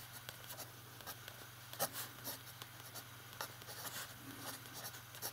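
A fountain pen writes on a blank page of an open lined paper notebook while the other hand's fingertips rest on the page. The nib makes soft, bright scratching strokes over a low steady hum, with one louder scratch near the middle.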